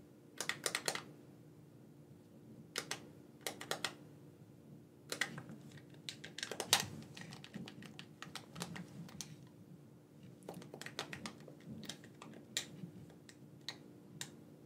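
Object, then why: Plastic gamepad. A black, wired, hand-sized hollow plastic gamepad has its buttons clicked with the thumbs in quick, irregular bursts separated by short pauses. Each click is a sharp, bright plastic tick that dies away almost at once, over a faint steady low hum.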